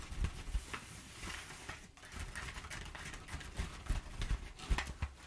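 Long nails rub and scratch across flattened, crumpled brown kraft paper packing padding. Dry, crinkly scratching and rustling carry a bright papery hiss, punctuated by short, dull low thumps as the paper is pressed and handled.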